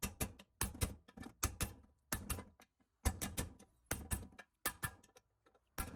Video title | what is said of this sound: How to Rebuild a BW 44-81 Transfer Case | You can hear it when it goes all the way down.